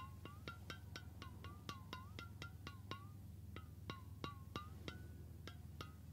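A medium, hollow, cylindrical stainless steel water bottle is held beside the ear while fingertips and nails tap along its metal body. The result is a quick, uneven series of short, bright, metallic taps with a brief ringing tone around 1.1 kHz that bends slightly in pitch, over a steady low hum.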